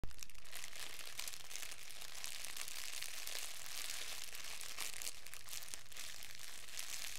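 A fist-sized, hollow, loosely crumpled wad of thin clear plastic wrap is held in both hands and crumpled and squeezed with the fingertips. A steady, dense run of bright crinkling and crackling continues throughout, with no pauses and an irregular rhythm.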